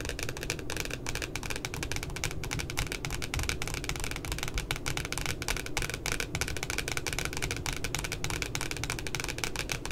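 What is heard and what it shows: Long glittery nails tap and scratch quickly on the glossy cardboard cover of a spiral notebook with a puppy design. A dense, steady stream of crisp, bright clicks runs through the whole clip over a low, muffled rumble.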